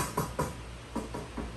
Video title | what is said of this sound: My Entire Saladmaster Cookware Collection That Cost A Million | tumutunog. Pakinggan natin tunog. Iba ang tunog.